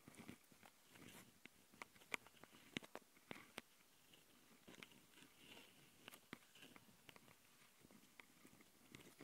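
Long fingernails on both hands scratch the two metal mesh grilles over the microphone capsules of a small plastic Tascam handheld recorder. The result is quiet, bright, close-up rasping punctuated by sharp, irregular clicks and ticks with no ringing tail.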